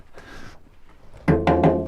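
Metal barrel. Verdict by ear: Empty.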